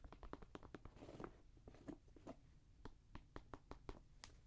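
Fingernails tap and scratch the upper of a grey Jordan Flight 45 high-top sneaker, made of synthetic leather and mesh with a rubber sole, while it is held in the hand. A quick, uneven series of short, dry clicks is heard, with a brief scratchy rasp partway through. It all sits quietly over a low background rumble.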